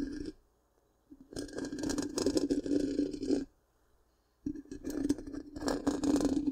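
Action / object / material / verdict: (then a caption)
scrape / metal mesh microphone grille / metal mesh / none. Long pink-painted nails of both hands scratch the hollow black round metal mesh grille of a large microphone. Dense, raspy scratching with a steady low-mid resonance and bright crackle comes in three bursts separated by near-silent pauses.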